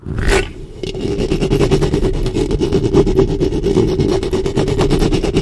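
Long fingernails of both hands cup and scratch the metal mesh head of a black studio microphone, producing a dense run of rapid, rasping clicks over a steady hum near 410 Hz and a heavy low rumble. A brief brighter burst opens the clip before the scratching settles into a continuous, even texture.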